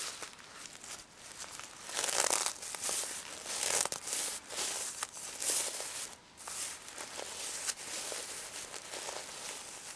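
Fingers and nails rub and brush across the plastic sequins covering a pink stuffed plush pig toy. The result is a bright, crinkly, scratchy rustle that swells and fades in uneven bursts, with almost no low end.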